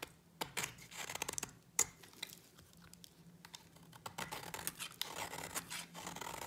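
A utility knife blade shaves curls off a solid white dry bar of soap held in the fingers. The result is a run of quick, dry, bright scraping and crisp cutting sounds, with a few sharper clicks and a steady faint low hum underneath.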